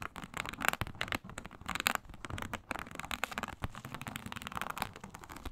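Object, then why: Embossed synthetic leather mat. Long nails scratch vigorously across a flat, iridescent faux snakeskin mat of embossed reptile-pattern synthetic leather. The result is a quick, uneven run of dry, crackly rasps with a bright, scratchy edge centered around 1.5 kHz. Each stroke stops almost instantly, with no ring after it.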